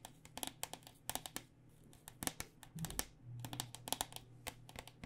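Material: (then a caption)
Plastic. A white plastic cycling helmet, a hollow plastic shell over foam, is held upside down while its outer shell is tapped with long nails in a quick, irregular series. Each tap is a sharp, bright click with almost no ring, some landing in clustered flurries. A low steady hum runs underneath.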